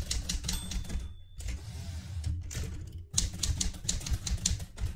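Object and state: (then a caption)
Manual typewriter typing. Fingertips with red-painted nails type continuously on a vintage light blue portable manual typewriter with a metal body. Rapid clacking keystrokes carry bright, crisp clicks over a low thudding body, with brief lulls near 1.2 and 3 seconds before the typing resumes in a dense burst.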